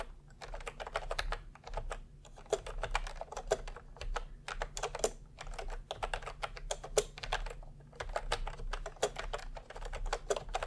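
A cream and peach plastic retro keyboard with round keycaps, resting on cloth, is typed on with the fingertips of both hands. Steady bursts of quick, clicky keystrokes carry over a low background hum, with each tap short and dry and some louder strokes standing out.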